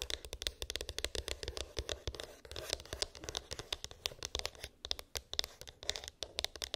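A small white cardboard iPhone box with an embossed, textured lid, hollow with unknown contents, is tapped and scratched with long pink acrylic nails. Quick, dry clicks and scratchy rasps crowd together in a rapid, uneven rhythm, bright and crisp, with a ringing tone near 3.6 kHz and a faint low rumble underneath. Each tap dies away almost instantly.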